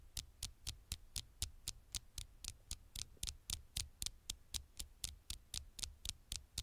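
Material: Glass.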